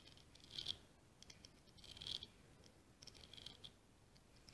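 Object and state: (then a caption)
Scallop seashell scratched with nails. Long green-painted nails scratch and tap across the ribs of a small, solid, ribbed scallop shell in light orange, held between the fingers. The result is a quiet, irregular, bright rattling and pattering with short clicky taps, swelling into louder scratchy bursts a few times before settling back to soft patters.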